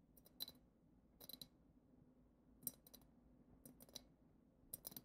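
Long acrylic nails tap the bowl of a hand-height, clear glass goblet-shaped vessel decorated with a silver glitter swirl and a glitter-coated foot, hollow and empty except for loose glitter at the bottom. Quiet clusters of quick, bright clicks and ticks come in short bursts, each dying away almost instantly with only a faint glassy shimmer over a low, soft background.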